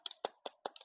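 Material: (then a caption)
Baked dough. A finished, iced Thai tea butter cookie, baked firm and slightly hard so it keeps longer as a gift, is knocked in a quick series of short, dry taps. Each tap is a crisp, hollow click with a brief mid-range body and bright highs that dies away almost at once. The sound shows the cookie is hard and crisply baked.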